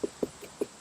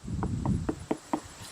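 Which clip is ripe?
The second.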